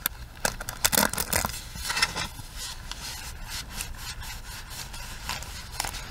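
Long acrylic nails scratch and rub the bristles of a small plastic hairbrush. Bright, crackly scraping strokes come in quick bursts during the first two seconds, then settle into a softer, steady rubbing with a few sharper scratches near the end.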